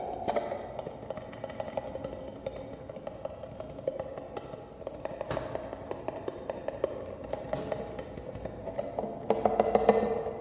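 A small, empty, hollow clear acrylic cube display case with a dark base is held in both hands and tapped with fingertips and nails. The result is a continuous run of light, quick, hollow plastic taps with a short ring around 450 Hz. The tapping grows louder and denser near the end.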